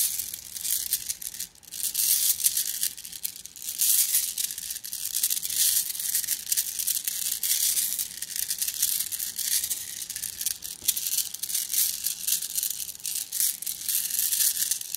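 A hand squeezes a plastic mesh bag of flat blue glass gems, making the gems clink against each other. The result is a steady, bright rattle of many tiny, quick clicks and crinkles that die away almost instantly, with almost no low end. The sound fades briefly after the first second and a half, then continues evenly to the end.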